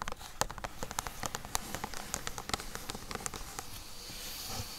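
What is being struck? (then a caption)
Corrugated cardboard box. Long acrylic nails rapidly tap and scratch the surface and edges of a flat, closed, medium-size hollow corrugated cardboard box, first lying on blue fabric and then held upright in both hands. The sound is a quick run of short, dry, bright clicks over a papery scratching rustle. The taps thin out toward the end, leaving mostly soft scraping.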